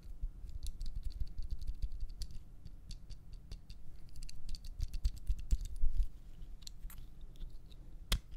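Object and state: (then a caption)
Plastic disposable lighter. Fingertips and nails tap a small dark plastic disposable lighter with a metal top, held close to the microphone, making quick, bright clicking sounds on its plastic body and metal hood. The irregular taps run over a steady low rumble, with one sharper, louder click near the end.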